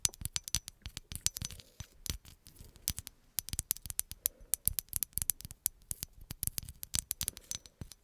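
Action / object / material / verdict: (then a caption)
tap / glass bottle with paper label / glass / none. Long acrylic nails tap rapidly on a hollow green glass bottle with a paper label, making dozens of quick, bright, high clicks. Each tap dies away almost instantly, with a faint low thump under the high ticks in an irregular, quiet pattering rhythm.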